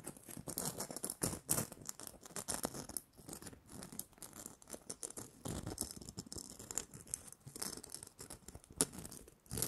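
Long nails scratch and tap the surface of a small, hollow, red glitter-coated plastic Christmas bauble with a gold cap and string. The result is a quiet, continuous crackly rattle of dry scraping, with bright hiss and light, quickly fading taps scattered throughout.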